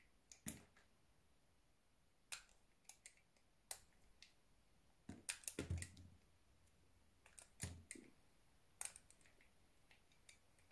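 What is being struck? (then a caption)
Bar of soap cut with a small metal knife. A small blue-handled metal knife shaves thin curls off the edge of a solid, palm-sized white soap bar held in one hand. The result is a quiet series of sharp, bright scraping clicks separated by irregular pauses, with a faint low rumble underneath.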